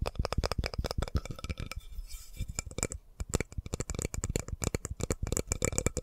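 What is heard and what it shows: A solid light-wood spoon is held horizontally in both hands close to the mic while fingertips and nails tap and scratch along it. Quick, dry taps with a low, thuddy body and bright clicky edges come in rapid runs, easing into a softer scratching stretch partway through before the tapping picks back up.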